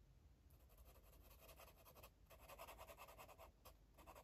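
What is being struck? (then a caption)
Felt-tip marker on a paper coloring page. A yellow felt-tip marker scribbles and scratches across a paper coloring book page. Quick, uneven strokes make a dry, bright scratching hiss that rises and falls in bursts, with a few brief pauses, over a faint low rumble.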